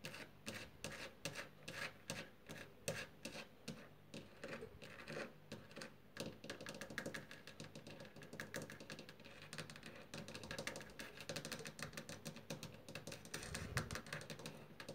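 Long fingernails scratch and tap on a solid, white-painted wooden door frame moulding. Quick, dry clicks and taps with almost no ring mix with a continuous scratchy rubbing, all at a quiet level. The sound has a soft low body and a bright, crisp edge.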